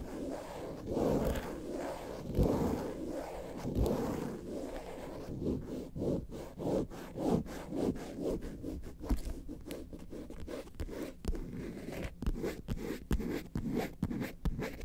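Long acrylic nails scratch and tap the smooth underside of a hollow, red lobster-shaped faux leather handbag. A soft, dull, low scratching rubs continuously for the first few seconds, then gives way to quick, sharp taps mixed with scraping that continue to the end.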